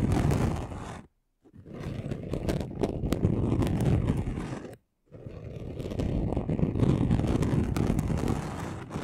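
Both hands scratch a flat, chunky gold glitter craft sheet with short nails, making fast, dense, rough scratching. The scratching sounds heavy in the low end and comes in three bursts, separated by two brief silent pauses.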